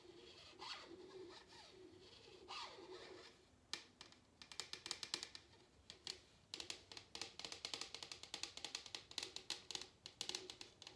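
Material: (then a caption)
Paper. Long nails scratch along the inside rim of a medium, empty paper cup with a colorful printed exterior, making soft, bright, papery rasps. The cup is then lifted and its outside is scratched, producing a quick run of crisp, high, dry scratches and ticks that fade almost instantly.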